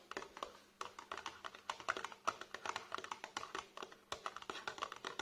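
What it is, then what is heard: Cardboard product box tapped. Fingertips and nails tap quickly along the sides of a tall, narrow, printed cardboard box holding a tube product, held upright on a table. The hollow box gives a rapid, uneven run of dry, papery clicks with a midrange knock. Each tap dies almost instantly over a faint steady low hum.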